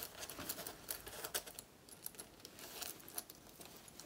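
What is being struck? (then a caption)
Synthetic leather jacket. Long natural nails on both hands scratch and claw at the chest panel of a black faux leather jacket worn on the body, its soft synthetic leather giving quiet, bright rasps. Quick scratchy ticks and brushing strokes come in irregular bursts, mostly high in tone with almost no low end, each dying away almost at once.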